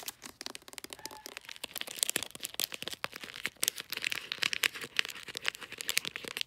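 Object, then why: Glossy paper wrapping on a small cylindrical gift. Fingertips and long nails tap and scratch the top of a small cylindrical gift wrapped in glossy light-blue bulldog-print paper with taped, folded ends. The result is a fast, dense run of crisp, bright crinkling clicks and scratchy rustles with almost no low end. Each tap dies away instantly.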